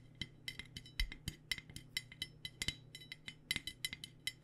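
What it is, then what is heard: Aluminum water bottle. An aluminum water bottle is tapped with fingers or nails in a quick, uneven rhythm of about 25 light taps. Each tap gives a short, bright metallic clink with a ringing tone near 2 kHz and higher overtones. A faint, steady low hum runs underneath.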